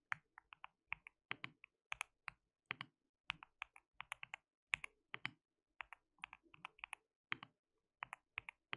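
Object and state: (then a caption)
Mechanical keyboard typing. Fingertips of both hands type continuously on a white mechanical keyboard with plastic keycaps. About 38 quiet, bright, clicky keystrokes come in an uneven rhythm, each dry and short with almost no ring, over near silence.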